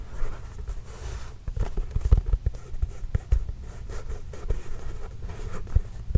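A full-size Spalding NBA composite leather basketball, hollow and inflated, is held close to the microphone and scratched and tapped with the fingertips and nails. Soft, dull low thumps are heard over a steady scratchy rustle. Each tap dies away almost at once.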